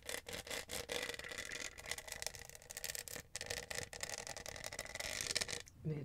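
Long nails rub and scratch across the bumpy studs of a tall, hollow pink plastic studded tumbler with a lid and straw. The result is a steady run of bright, rasping scrapes in quick repeated strokes, with dry, clicky texture and almost no ring after each stroke.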